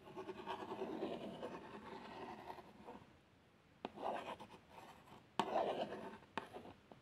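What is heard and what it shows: A long nail traces and scratches over the x100 badge and printed plaster outline on a small, hollow cardboard box of plasters. It makes a soft, dry midrange rasp for about three seconds, then a pause. Four sharp taps follow, each with a short scratching drag after it.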